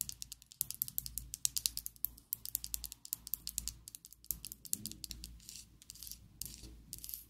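Long acrylic nails tap and scratch a slim pink and black plastic Essence liquid lipstick tube held above a table. Rapid, crisp, bright clicks come in a dense stream, shifting in the later part to softer, hissy scratching with scattered taps. A faint low hum sits underneath throughout.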